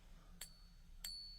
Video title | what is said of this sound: The BEST ways to TEST for FAKE SILVER at home! #silverstacking | you will find there's a very noticeable difference in that ping right there